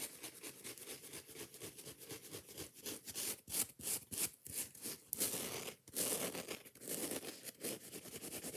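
Long nails scratch and tap a yellow foam kitchen sponge and its green scouring pad in fast, aggressive strokes. The result is a bright, gritty rasping texture made of rapid, irregular scrapes, broken by a few brief pauses and short dry taps.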